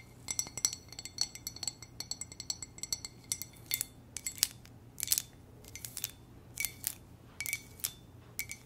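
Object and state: Ceramic coffee mug tapped with nails.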